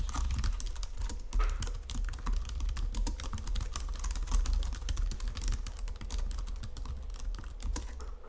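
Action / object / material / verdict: tap / plastic computer keyboard keys / plastic / none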